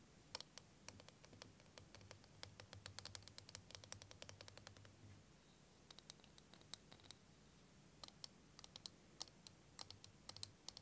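Fingernails tap and click on the walls of a curved, clear, hand-sized plastic liquid timer filled with green and blue liquid. Quick, sharp, bright clicks come in irregular clusters, with a short pause around the middle, over a faint low hum. Each tap dies away almost instantly.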